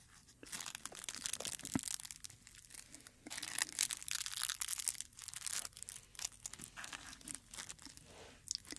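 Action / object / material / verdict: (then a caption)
scrape / rose flower head / dried petals / none. A dried dark red rose on its stem has its brittle petals stroked and crinkled with fingertips. The result is a steady stream of dry, bright crackling and rustling with almost no low end. It comes in denser bursts and then thins out.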